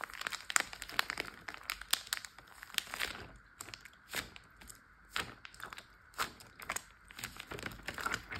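Fingertips and short nails tap and scratch the surface of a large clear plastic Ziploc bag full of water lying flat, crinkling the plastic. A steady run of quick, bright crinkles, taps and scratchy clicks comes in irregular bursts, with almost no low end and no ring after each touch.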